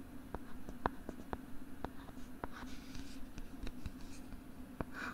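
Fingers scratch the molded plastic back of a pink plastic LCD writing tablet held close to the microphone with its back side facing out. The result is quiet, dry scratching with short, sharp ticks scattered throughout, over a steady low hum.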